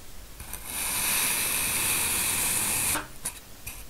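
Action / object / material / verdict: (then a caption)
scrape / packed mound of kinetic sand / kinetic sand / none. A steel knife held in a black-gloved hand slices thin layers from a small, solid, cupcake-shaped mound of packed green kinetic sand. A steady, bright, hissing scrape builds in and holds for about two seconds as the blade cuts through. It then drops to a few faint, soft scrapes and ticks.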